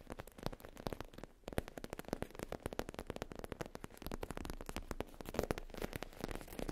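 Long nails tap and scratch across a soft, flat black faux leather zip pouch with an embossed logo. The result is a dense run of quick, dull, muffled taps mixed with soft scratching. Each hit dies away almost instantly at a low, close level.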